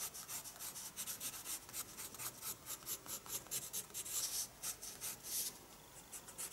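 A pencil shades back and forth across the paper of a spiral paper sketchbook. The result is a steady run of soft, bright, scratchy rubbing strokes with almost no low end, at a quiet level.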